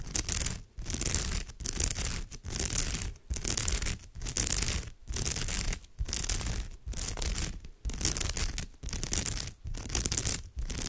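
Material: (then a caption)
Straw. Fingertips and long nails scratch and rub the textured weave of a woven straw or raffia purse. The result is a run of dry, broadband rasping strokes, bright and hissy on top with a low rumble beneath. The strokes come in short bursts separated by brief pauses, at a loosely steady pace.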